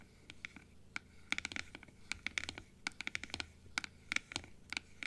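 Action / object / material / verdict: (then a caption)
scrape / plastic dental teeth model / plastic / none. Long nails scratch the blue plastic inner palate piece of a large, open plastic dental teeth model. A quick run of short, dry clicks and scratches rings out, bright and sharp with almost no low end, each one dying away instantly over a faint background hiss.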